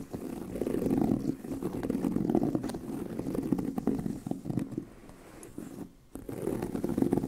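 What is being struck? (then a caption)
Leather handbag. Both hands scratch the surface of a tan pebbled leather handbag with medium-long nails, and the hollow bag body resonates. The result is a dense, irregular run of soft scratching with a warm, low-mid body and little brightness, dipping into a brief near-silence just before the end.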